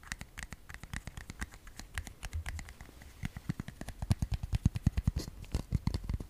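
Long fingernails tap and scratch a small, hollow, white translucent plastic case held in both hands. Rapid, irregular clicks have a dull, hollow low thump and bright ticks on top. The taps grow louder and sharper in the second half.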